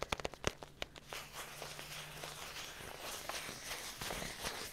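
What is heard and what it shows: A small, hollow, sealed paperboard instant bowl cup with a printed label is held in the hands and tapped with long fingernails on its side and bottom. About eight sharp, bright clicks come in quick succession, followed by a steadier stream of light, crackly tapping and scratching.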